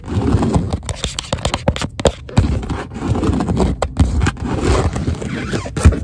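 Long acrylic nails scratch and tap quickly and aggressively along the underside of a padded, stitched grey leather car seat bolster, soft and hollow upholstery. The result is a dense run of dull, low thumps with rough scraping in between, each tap dying away almost at once.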